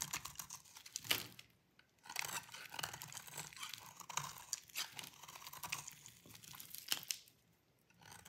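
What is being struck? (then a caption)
Bar of soap shaved with a metal blade. A metal utility blade shaves a hand-sized solid bar of dry green soap held in one hand, and crunchy curls fall onto a plastic tablecloth. Dense, bright, crackly scraping and crunching come in bursts, with brief quiet gaps between strokes.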